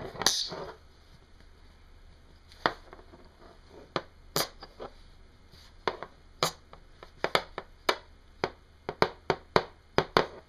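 A matched pair of small, solid, dark grey oval hematite sizzle magnets from one toy is held in the fingertips over a wooden desk, pressed together, pulled apart and knocked against each other. A brief rattling sizzle opens the clip, followed by 16 sharp, dry clicks that die away almost instantly. The clicks are sparse at first and come faster toward the end.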